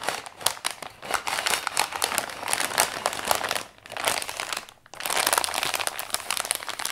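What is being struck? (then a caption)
Kraft paper padded mailer. Fingertips and palms press, smooth and rub the crinkly surface of an Amazon brown kraft paper padded mailer lying flat on white paper with a plate inside. Dense, bright crinkling and crunching runs through the clip, easing briefly twice near the end before the rustling picks up again.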